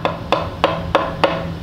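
Boomerangs tap five times on a wooden branch hollowed out by termites, used as a didgeridoo, showing how hunters tapped trees to find termite-hollowed branches. Each tap is a hollow, woody knock with a resonant tone around 550 Hz and a short ring. The branch sounds hollow and empty inside.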